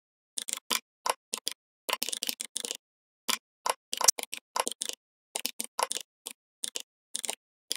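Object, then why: Plastic computer keyboard. Fingertips type on the plastic keycaps of a full-size, red-backlit plastic membrane gaming keyboard. Quick, dry clicks come in uneven bursts separated by brief pauses. The clicks are bright, with almost no low end and no ring after each stroke.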